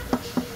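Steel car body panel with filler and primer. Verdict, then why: Thin filler. A dented steel car body panel, straightened, covered with only a thin layer of body filler and primed, is knocked twice. Each knock is a short, metallic tap centered around 250 Hz that dies away quickly. It still sounds like sheet metal, which shows the filler is not thick, whereas before the repair the panel sounded like plywood.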